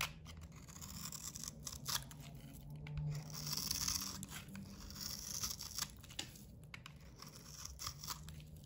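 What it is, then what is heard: Dry, crumbly bar soap being shaved. A solid blue bar of soap with a glitter coating, held in the hand, has its cream interior shaved with a box cutter blade. The result is a dry, crumbly scraping with bright, hissing texture and a low rumble underneath, rising and falling in continuous strokes.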